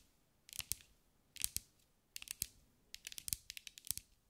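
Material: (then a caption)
Glass. Long acrylic nails tap and scratch a green mirror-glass mosaic sphere held in the hands. Quick, bright clicks and ticks come in four clusters, the last the longest and busiest. Each sound is dry and short with almost no ring, at a quiet level.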